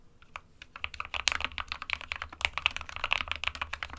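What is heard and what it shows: Fingertips of both hands type continuously on an SK61, a small 60% mechanical keyboard with a plastic case and plastic keycaps, hollow with switches inside. A rapid, uneven stream of sharp, bright plastic clicks and clacks centered around 2.6 kHz, each dying away almost instantly. A faint low hum sits underneath.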